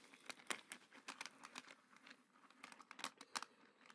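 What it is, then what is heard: Resin pebbles clicking together. Fingertips dig into a pile of small, smooth, solid glow-in-the-dark resin garden pebbles in a black container and move them around. The pebbles knock together in a quick, irregular run of bright, dry clicks and rattles. Each click dies away almost instantly, with no low rumble underneath.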